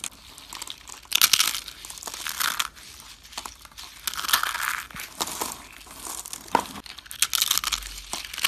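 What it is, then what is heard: Dry soap curls crushed by hand. Small hollow rolled curls of dry yellow and green bar soap are crushed and crumbled between bare fingertips and palms into flakes. Dry, bright crinkling and crunching come in bursts, with short crackling snaps between quieter rustles.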